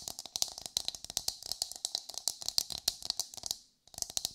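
Long white fingernails on both hands tap and scratch the hard, fibrous surface of a whole brown coconut. The result is a rapid series of dry, bright clicks with scratchy rustles and almost no low end. The tapping briefly stops near the end, then resumes.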